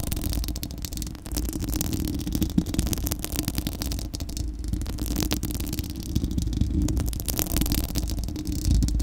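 Long acrylic nails on both hands scratch across a bare, hollow, round steel-mesh microphone dome grille. The result is a dense, continuous, rough scratching with a heavy low rumble and boom near 180 Hz, plus faint bright crackles. The level stays fairly steady for the whole clip.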